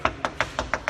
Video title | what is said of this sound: Misha Collins and Rob Benedict share the magic of set creation for Supernatural | if you tap on it it's got kind of a hollow sound